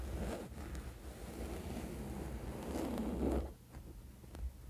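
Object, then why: Cotton bed sheet. A flat woven cotton bed sheet lying on a bed is scratched with the fingernails of both hands spread across its surface, giving a steady, dull, low-heavy rustling scratch. The scratching swells slightly just before three and a half seconds, then drops to a quieter rasp with one brief stroke near the end.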